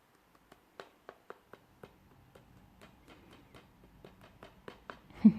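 A plastic Princess and the Frog DVD case with the disc inside is tapped, giving a series of short, sharp clicks over a soft background. The disc can be heard rattling loosely inside the cover, and a louder knock comes right at the end.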